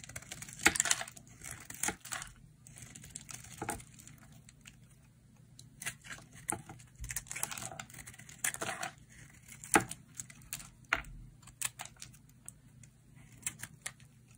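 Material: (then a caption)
Soap. A hand-sized solid pink-and-white bar of dry soap is cut with a metal utility blade into crisp chips. Scraping and cutting produce many short, bright, dry crackles and snaps with a faint low hum underneath. The chips break off crisply with no ringing.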